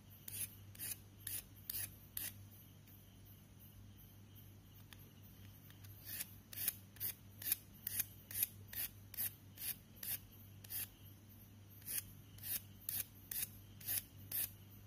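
A thin, solid white chalk stick with a dusty surface, held in the fingers, is scraped and carved along its side with a knife blade. Short, bright, raspy scrapes come in quick, uneven bursts, with a quieter pause partway through, over a steady low hum.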